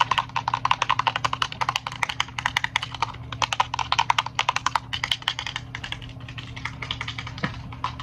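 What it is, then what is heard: Plastic over-ear headphones. Fingertips and long nails tap and scratch along the hard plastic headband and green-accented ear cups of handheld, hollow black over-ear gaming headphones. Dozens of quick, dry, bright clicks come in rapid, uneven runs with a hollow plastic tone near 960 Hz, over a steady low hum.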